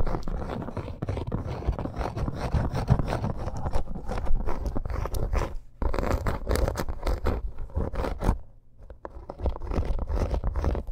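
Long acrylic nails scratch fast across a flat, thin, red snake-embossed faux leather bracer, making a dense, continuous scraping rustle heavy in low thuds. The scratching runs steadily, dropping out briefly just before 6 seconds and again near 9 seconds before picking back up.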